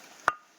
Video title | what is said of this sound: @alvilturemixvlogs Bato na parang bakal Ang tunog | Akala mo bakal eh pero Bato yan